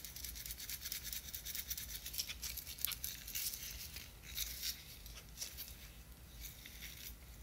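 Long nails tap and scratch a small clear square plastic jar with a white lid, full of chunky glitter, and the jar is shaken. The result is a quiet, continuous stream of bright, crisp clicks and rattling scratches, with a faint low rumble underneath.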